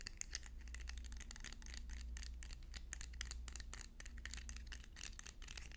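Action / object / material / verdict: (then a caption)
tap / wooden pencils / wood / none. Fingers tap rapidly on wooden pencils, making a dense stream of quick, bright, dry clicks and light scratchy rubbing. A steady low hum runs underneath the whole time.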